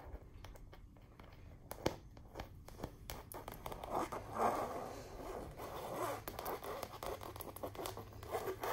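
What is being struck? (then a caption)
Stretched canvas wall print. Long nails scratch and tap across the flat printed surface of a large wall print of a chandelier, likely stretched canvas. Quiet, dry, raspy scraping swells in the mid-range, broken by sharp, short taps with no ring.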